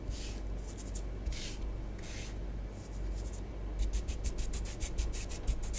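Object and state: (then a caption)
Bath bomb powder on tabletop. Long nails trace and scratch sun-like designs into orange bath bomb powder spread on a tabletop. A few slow, soft hissing strokes come first, then a quicker run of short, bright scratching strokes. A steady low hum sits underneath throughout.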